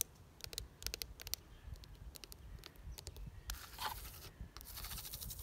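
A medium-size red ribbed plastic planter box filled with soil and geraniums is scratched and tapped with long nails. Sharp, bright clicks and taps come first, then give way to longer, hissing scrapes across the ribs over a low background rumble.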